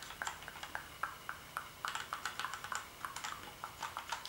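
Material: Plastic.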